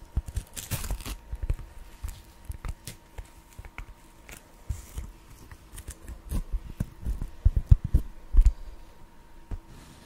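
Fingertips and short nails rub and tap the textured surface of a thin, flat, solid sheet of black foam, about hand-sized, held close to the microphone and pressed right up to it at the end. Dense, uneven bursts of soft scratching and dull, bassy thumps come and go in clusters. The taps grow heavier and more prominent toward the end.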